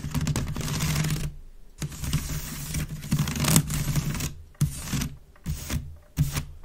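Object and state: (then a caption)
Wicker basket bin being scratched. Long red nails scratch fast across the weave of a grey wicker waste bin, hollow and empty, making dense, crackly rasping in bursts separated by short pauses, with a low hollow resonance beneath the bright scratch texture. The bin is then tilted, and the scratching returns in shorter, sharper bursts.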